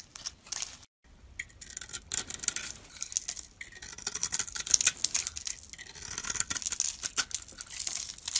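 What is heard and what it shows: A metal utility-knife blade scrapes and carves a hand-held solid pink Fa bar soap with a white core, shaving off curls and flakes. The sound is a dense run of bright, crisp scratching and rasping strokes, broken by a brief silence near the start, with almost no low end.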